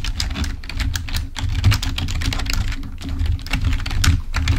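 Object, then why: Plastic membrane computer keyboard. Both hands type with their fingertips on a full-size black plastic membrane keyboard. The result is a fast, uneven stream of short, dry clacks with a dull low thump under bright ticks, plus a faint steady low hum beneath.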